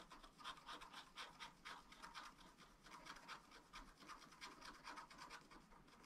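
A wooden stylus scratches and rubs a strawberry area on a black, wax-coated scratch-art page, thin flat paper in a small spiral-bound pad. Quick, rhythmic back-and-forth strokes make a soft, dry, bright rasp centred around 1 kHz, with little low end. The quiet scratching continues steadily through the clip.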